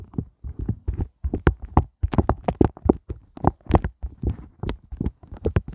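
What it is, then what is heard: Silicone heart ice cube mold. Fingertips and nails poke, tap and scratch the tops of the hollow hearts on a pink flexible silicone heart ice cube mold. The result is a fast, uneven series of soft, dull, low thumps with no ring, broken by a few brighter, scratchier flicks.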